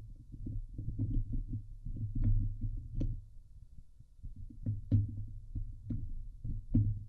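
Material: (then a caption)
Steel mesh. Long glitter nails scratch the hollow steel wire-mesh grille of a Blue Yeti microphone head. The result is a dense, muffled, low-pitched rumbling scrape with rapid rhythmic strokes, broken by occasional sharp, brighter ticks.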